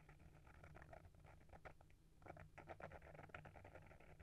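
Fingertips and nails scratch and tap the textured purple cloth cover of a small hardcover book, "A Little Bit of Dreams," with gold foil print, held in one hand. The result is a quiet, close stream of soft scratchy patter with quick dry taps, a muffled midrange texture over a steady low rumble and little brightness.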